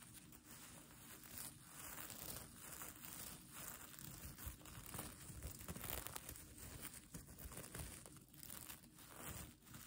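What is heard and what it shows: Fingers and nails scratch and brush back and forth across the plastic sequins of a mermaid tail blanket with a pink fleece backing. The result is a continuous dense crinkling, rustling texture that swells and fades in waves, with a bright high hiss over a soft low rumble.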